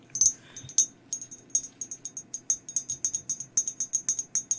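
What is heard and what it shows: Long acrylic nails tap all over a hollow, empty glazed ceramic mug with a black and white skeleton print. An uneven run of quick, bright clicks, each with a very short, high ring, sounds over a faint low hiss.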